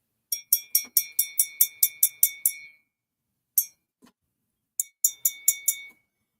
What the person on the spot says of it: Hear that high pitched ring? That is because there is lead crystal in here